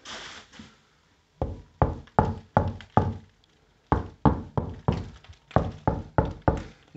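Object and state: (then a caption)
Hollow, blown plaster on brick wall. Knuckle-free taps on a section of plastered brick wall produce a series of short, hollow knocks with quick decay and a low thud. The hollow sound shows the wall is blown: the backing plaster has come away from the brick, unlike a nearby area that sounded dense and solid.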